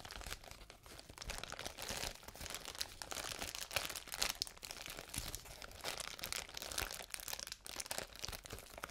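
A large sheet of clear plastic bubble wrap is held up to the microphone and scratched and rubbed with fingertips and nails. It produces a steady, dense, bright crinkling and crackling with many small quick clicks and no ringing.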